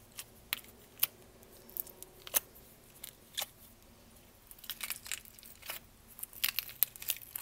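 Long nails tap the lid and sides of a small, clear, lidded plastic tub full of purple slime held close to the mic. Quiet, sharp, bright clicks with almost no ring come in scattered taps at first, then in quicker clusters during the second half, over a faint, steady hiss.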